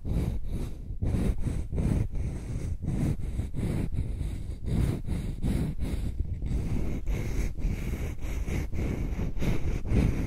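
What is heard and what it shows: Long nails scratch the flat face and edge of a palm-sized solid wooden heart-shaped block held close to the microphone. The scratching comes as a steady run of repeated strokes, heavily low and muffled with a rough, rumbling texture and almost no bright top end.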